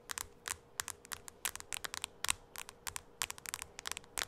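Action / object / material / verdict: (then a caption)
tap / tablet with glass screen / glass / none. Long acrylic nails tap the glass screen of a small, solid white-framed tablet held in both hands. About 25 sharp, dry clicks come in an uneven rhythm, some spaced apart and some in quick clusters; each is bright and high-pitched and stops almost at once. A faint steady hum sits underneath.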